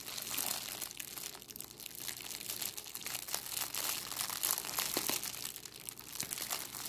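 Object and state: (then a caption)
Crinkled plastic cellophane bag. A thin, clear, crinkly cellophane plastic bag is held in both hands above a wooden table while fingers with long nails crumple and scrunch it. The result is a steady stream of dense, bright crackling and crinkling with little low end, swelling and easing as the plastic is squeezed.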